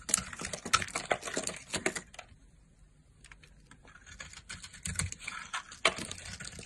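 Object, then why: Soap bar scraped with a blade. A solid blue soap bar held in the hand is carved and scraped with a red-handled blade, brittle chips breaking off. Rapid, crisp, bright scraping ticks and crackles run in quick bursts, dip to a faint hush for about a second, then pick up again with sharp snaps.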